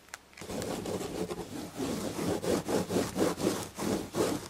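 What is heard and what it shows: Long red-painted nails scratch the damask chenille fabric on the back of an upholstered chair. The result is a soft, raspy scratching that starts as a steady rub and settles into quick, rhythmic back-and-forth strokes, with a dull, mid-toned body and little bright hiss.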